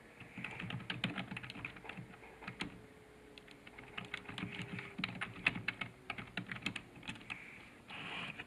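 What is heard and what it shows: Fingertips type rapidly on the keys of a black plastic computer keyboard resting on a desk. The result is a quick, uneven stream of short, bright plastic clicks with soft low thumps under them, each tap dying away almost at once. A faint steady tone slowly falls in pitch underneath, and a brief hissy rush comes in near the end.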